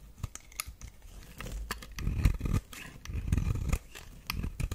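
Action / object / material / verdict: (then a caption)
scrape / bar of soap / soap / none. A metal blade scrapes flakes off the surface of a solid, dry pink flower-shaped bar soap stamped "Radiant Rose" while it is held in the hand. Dry, crinkly scraping comes in short bursts with sharp bright ticks over a low, muffled body, swelling into longer rough scrapes in the middle of the clip.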